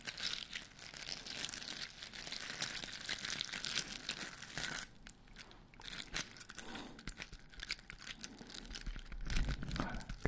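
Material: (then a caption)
Foam. Fingertips and nails scratch and rub the rough surface of a large white glitter-coated foam Christmas bauble with grey stars, held in one hand. It makes dense, bright, crackly scratching and crinkling, with a brief quieter stretch near the middle before the rubbing picks up again.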